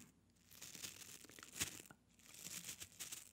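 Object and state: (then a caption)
Bristle hair brush. Fingertips and nails scratch and flick across the dense black bristles of a small black palm hair brush held up close. The result is a soft, bright, crackly rustling in two bursts, with a sharper flick near the middle and brief quiet gaps between.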